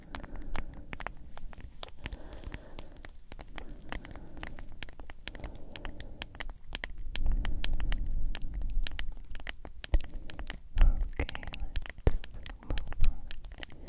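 A mid-size cylindrical plastic G Fuel powder tub with a printed label and a white lid, likely partly filled with powder, is tapped and scratched with long nails. Dense, rapid, dry clicks and scratchy crackles run throughout over a low, muffled rumble. The tapping grows louder and heavier in the second half.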